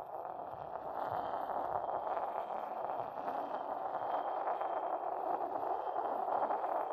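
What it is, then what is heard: Porcelain mortar rubbed with a pestle. A porcelain pestle is rubbed in circles on the base of a hollow, inverted white decorated porcelain mortar while the other hand steadies the bowl. It makes a steady, continuous gritty scraping with a hollow ring centered around 800 Hz.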